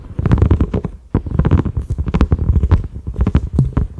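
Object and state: Silicone pot lid.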